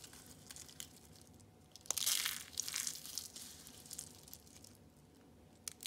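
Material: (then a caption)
Soap. Orange and green rolled dried soap curls are squeezed and crushed in a fist. Bright, dry crunching and crinkling comes in bursts, loudest around the two-second mark, with scattered sharp crackles in between and almost no low end.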